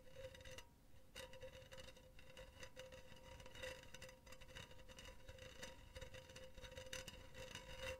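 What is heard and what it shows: Long teal nails tap and scratch a hollow, empty, silver wire-mesh cylindrical pen holder. A steady metallic ring sits around 516 Hz, with an overtone near 1 kHz, under many rapid, light taps and bright, scratchy rasps. Each tap decays within about a third of a second over a soft low rumble.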